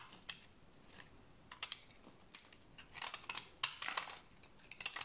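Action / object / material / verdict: scrape / bar of soap scraped with a blade / soap / none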